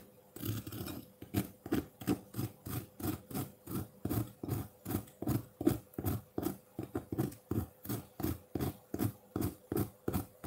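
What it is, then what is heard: Ice block scraped with a fork. A metal fork's tines scrape a solid block of colored ice sitting in a white ceramic bowl with some melt water, shaving off its frost. After one longer opening scrape, about thirty short, rasping strokes follow at a steady, rhythmic pace of roughly three per second. Each stroke is dull and low-pitched with little brightness, over a faint constant hum.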